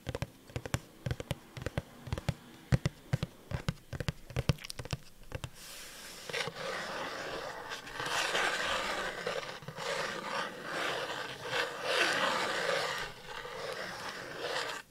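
Long dark painted nails tap a small, hollow cardboard Funko Pop box with a clear plastic window and the figure inside, held upright next to the microphone. About 25 short, dry knocks come in an uneven run for the first five seconds. The nails then scratch the box in a continuous, bright, rasping texture that swells and fades in waves until the end.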